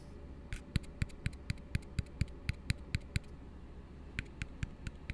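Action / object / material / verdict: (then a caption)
tap / upside-down plastic cup / plastic / none. Fingertips tap and scratch an empty, hollow blue plastic tumbler held upside down, making a steady run of short, dull hollow taps with bright clicky tops over a low hum. The taps pause for about a second, then resume at the same even pace.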